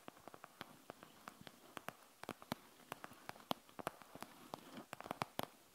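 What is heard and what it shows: Long nails tap and scratch on a panda gel bead eye mask with a plastic shell and gel beads. About 27 quick, sharp, bright clicks stand out against a soft, low scratching rustle. The overall sound is quiet.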